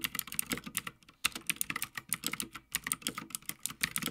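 Fingertips of both hands type continuously on a full-size backlit Havit gaming mechanical keyboard with plastic keycaps on a metal top plate. The result is a rapid stream of short, bright clacks centered around 2.7 kHz with little low end, broken by brief pauses near 1 and 2.7 seconds.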